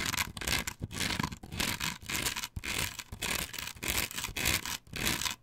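Long nails scrape and scratch quickly across a flat, perforated plastic stencil template glued to a wooden board. The result is bright, hissy, rasping strokes that come in fast, irregular bursts separated by brief silences, with little low end and almost no ring after each stroke.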